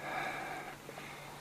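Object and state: Nothing is struck.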